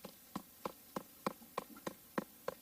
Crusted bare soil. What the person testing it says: Do you hear that hollow sound?